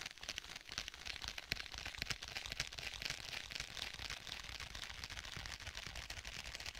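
Fingertips tap rapidly on the cover of a rigid black faux leather tablet case. The taps are short, dry and bright, with almost no ring, and form a dense, fairly steady patter over a faint low rumble throughout.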